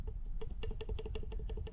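The shaft of an old, worn turbocharger is grabbed by hand and shaken, producing a rapid series of light, sharp metallic rattles over a steady low rumble. The rattle reveals loose shaft play, more than on the new Turbonetics 78/75 turbo.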